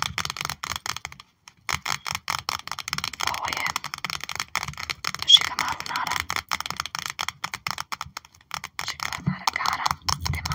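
Long nails tap and scrape across a trading card binder page, with cards held in clear plastic sleeve pockets. A rapid run of crisp, dry clicks and crinkly scratches is mostly bright and high-pitched, with very little low end. Brief silent gaps break up the dense tapping.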